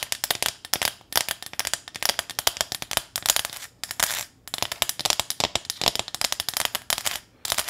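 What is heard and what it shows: Long nails rapidly tap and scratch across a small flat corrugated metal welcome sign with a ribbon bow. Dense, bright clicks and scrapes come in quick bursts with short pauses, each hit dying out almost instantly with little low end.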